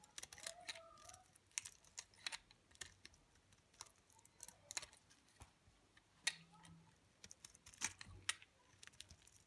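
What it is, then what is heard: Dry bar soap. A utility knife blade scrapes flakes off the face of a solid, dry olive green bar of soap held in the fingers. It makes a quiet series of crisp, bright scratches and clicks that stop short with almost no ring, separated by brief pauses.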